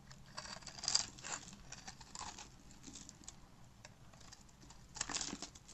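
A black utility-knife blade cuts a grid into the surface of a hand-sized, solid pink bar of dry soap held in the hand, then scrapes off small cubes. The result is dry, crisp scraping and crumbly crackling that is bright and high, with louder bursts near the start and end over a quiet background.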